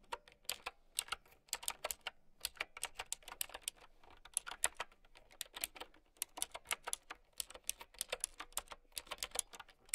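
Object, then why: Plastic mechanical keyboard with round keycaps. Long nails and fingertips type steadily on a mint-green typewriter-style mechanical keyboard with round plastic keycaps. Dozens of sharp, bright, clicky keystrokes come in quick bursts with brief pauses. Each click is dry and dies away almost instantly, with very little low end.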